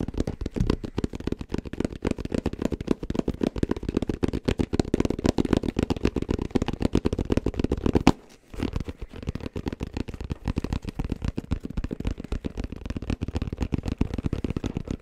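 Fingertips tap rapidly on a hollow, black, round, fabric-covered hard-shell headphone case. The result is a dense stream of short, muffled, low thuds with almost no ring. The tapping pauses briefly just after the eight-second mark before resuming at the same fast pace.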